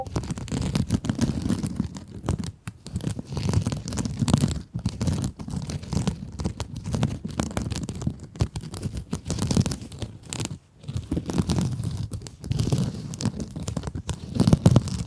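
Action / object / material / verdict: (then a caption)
scrape / mesh scrub sponge / mesh / none. Long acrylic nails scratch a small pink scrub sponge with a glittery mesh surface. The result is a dense, continuous scratchy rasp, heavy in the low end with little brightness, broken by a few brief pauses between bursts.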